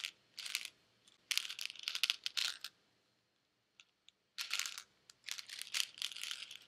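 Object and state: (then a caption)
Plastic pill bottle with tablets. A white plastic Advil bottle with pills inside is shaken by hand, making the tablets rattle in bright, clattering bursts. Short bursts of rattling are separated by brief pauses and a couple of single clicks, then a longer stretch of shaking runs to the end.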